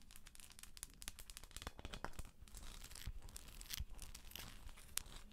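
Long acrylic nails scratch and tap the shell of a hollow plastic galaxy moon lamp held in both hands. A dense, dry scratching crackle with a low rumble underneath is broken by quick, sharp taps and bright clicks that stop instantly with no ring.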